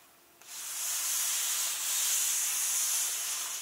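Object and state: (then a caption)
Hands rubbing book pages. Flat hands and fingertips rub slowly across the glossy illustration and text pages of an open hardcover book. After a brief quiet moment, a steady, bright, papery hiss starts and holds for about three seconds. The sound is almost entirely high-pitched, with no low end.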